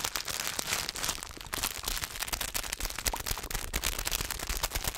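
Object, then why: Chocolate bar in paper and foil wrapper. A flat, solid Hershey's milk chocolate bar in its paper and foil wrapper is held close to the mic while fingertips and nails quickly tap, scratch and crinkle the wrapper. The result is a dense, fast stream of sharp, bright crackles and clicks over a soft low rumble, with no pauses.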